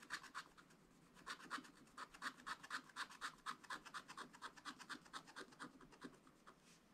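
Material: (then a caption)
Wax-coated card. A wooden stylus scratches stripes onto a clownfish on a black wax-coated scratch-art paper page in a spiral book. Rapid, quiet scraping strokes repeat at about two per second, each a short dry rasp with a midrange bite near 1.5 kHz and a bright, hissy top. There is a brief pause just after the first second.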